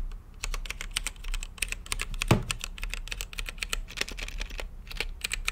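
Fingertips type on an RGB-lit mechanical keyboard with plastic keycaps and a clear acrylic case. The steady run of quick, bright clacks comes with a low thock beneath each press, and one heavier, deeper-sounding keystroke lands near the middle. Each tap dies away almost instantly.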